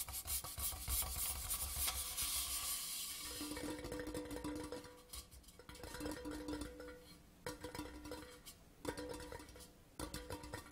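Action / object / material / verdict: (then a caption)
tap / metal tube-shaped tin / metal / none. Nails and fingertips of both hands tap and scratch along the side of a hollow grey Port Charlotte metal whisky tin tube lying on a cloth. A bright, raspy scratching fills the first few seconds, then quick light taps make the tube ring with a hollow metallic tone of about 500 Hz, coming in short bursts.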